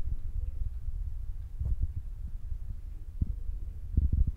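Fingertips with short nails tap quickly and repeatedly on the soft, spongy black foam windscreen over a handheld Zoom recorder's mic. The result is a steady run of muffled, deep thumps with almost no brightness, each dying away at once, growing a little louder and more clustered toward the end.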